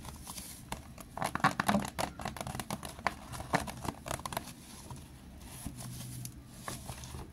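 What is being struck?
Plastic water bottle.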